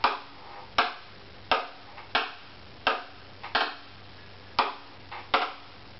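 A hollow wooden violin lies face up, its neck held steady by one hand while the other taps the wooden top with a thin stick, lifting between taps. Eight sharp, dry taps come at an uneven pace, a few preceded by a faint lighter touch. Each has a hollow woody tone centered around 1.3 kHz with a bright edge, and it dies away within about a tenth of a second.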